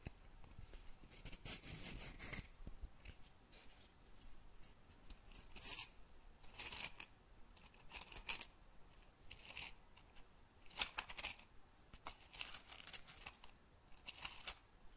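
An open, small cardboard matchbox drawer full of red-tipped wooden matches is tapped and scratched with a fingernail. Quiet, dry, bright scratching bursts come and go over a soft low rustle, with short crisp taps and no ring.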